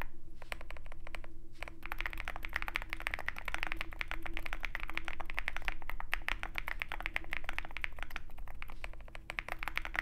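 Fingertips of both hands type continuously on a Zoom65 65% mechanical keyboard with white MT3 PBT keycaps and a dark aluminum case, resting on a desk mat with a wooden wrist rest. A rapid, steady stream of short, dry clacks with a bright top over a constant low hum, each keystroke fading almost instantly.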